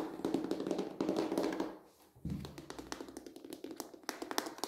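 A medium rectangular red plastic planter with hollow walls, filled with soil and a plant, is tapped on its side and rim with fingertips and short nails. Quick, irregular hollow taps with a low-mid body around 277 Hz and brief bright clicks from the nails follow one another. The sound dips to near silence midway, then the tapping resumes.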